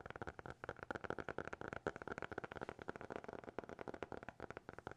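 A small black hardcover notebook, closed and solid, is held in both hands and tapped with fingertips and nails in a quick, uneven run of 21 short taps. Each tap is a dry, hollow knock with a mid-pitched tone around 410 Hz and a brighter click on top, dying away almost instantly with little ring.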